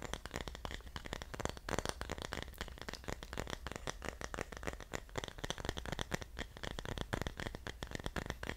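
Fingertips and nails tap and scratch the surface of a small carved wooden pineapple-shaped dish of solid wood with a spiky top, held in both hands. A dense, continuous run of quick, dry clicks, taps and crackly scratches fills the clip with no ring after each hit, over a steady low hum.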